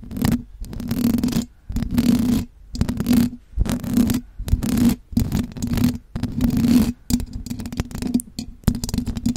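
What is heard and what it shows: Long blue acrylic nails tap and scratch the silver perforated metal mesh grille on the hollow head of a large condenser microphone, with pursed lips close by. Dense, rough scratching comes in repeated bursts split by brief silences. The sound is deep and rumbling, with a steady low hum running through each burst and very little bright content.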